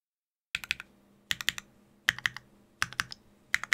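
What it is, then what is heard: Mechanical keyboard typing. Fingertips slowly tap the keys of a Sangeo 60, a 60% mechanical keyboard in a white case with blue and grey GMK ABS plastic keycaps, an aluminium plate and Durock POM switches. Five short bursts of crisp, clacky keystrokes are heard, each a quick cluster of bright clicks centred around 2 kHz with a faint low thock and almost no ring. Quiet pauses separate the bursts.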